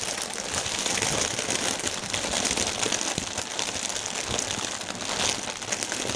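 Hands lift and squeeze one clear plastic air-pillow section of a strip of air cushion packaging film, crumpling the thin film. The result is a dense, continuous stream of bright, crackly crinkling at a steady level, with very little low end.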